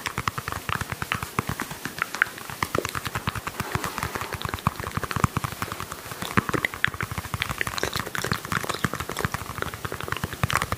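A small, glossy pink hollow plastic toy ball is held close to the microphone and tapped and scratched with fingernails and fingertips. The result is a dense, rapid stream of short, dry clicks and soft hollow thumps, layered with a bright, scratchy rustle, all at a steady, quiet level.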